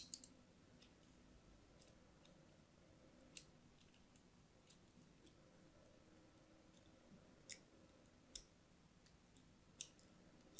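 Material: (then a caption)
Soap. A thin metal blade scratches lines into the surface of a pink and white striped solid soap bar held in the hand. Soft, steady scraping runs underneath several sharp, bright clicking scratches that stand out from the quiet background and die away almost instantly.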